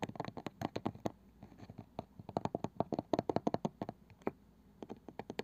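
Long painted nails on both hands tap and scratch fast on the pale wooden lid and rim of a small, palm-sized round box with a ridged, woven-looking side band that appears hollow. The result is a steady run of quick, dry, woody clicks with a mid-range body, interspersed with soft scratching. Each tap stops almost instantly with no ring.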